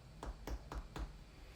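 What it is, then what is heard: Hollow-sounding baked pizza crust. A baked pizza crust, after about 7 minutes of cooking, is tapped four times to test doneness, giving short, dull, hollow-sounding knocks. The hollow sound indicates the pizza is probably cooked.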